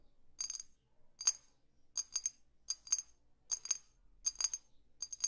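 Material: Glass.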